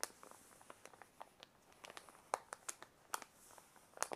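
A white paper envelope is held in both hands while the fingers crinkle, squeeze and rub the paper. Quiet, sharp crinkles and crackles come in an irregular string over a faint hiss. The sound is bright and papery with no low end, and each crackle stops almost at once.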